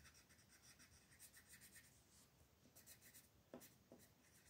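A green colored pencil, held in the fingertips, scratches and rubs across a thin white paper mandala coloring sheet lying flat on a table while the other hand holds the sheet still. The result is a quiet, steady, bright scratchy hiss in short rhythmic strokes, with a couple of sharper ticks near the end.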